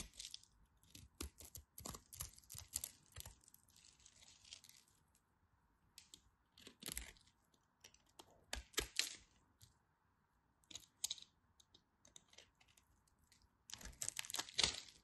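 A craft knife scratches and shaves the scored surface of a solid pink and white striped bar soap held by hands with long white nails. Quick, bright scraping and crisp crumbly shaving strokes come in bursts with short pauses, over a faint steady hum.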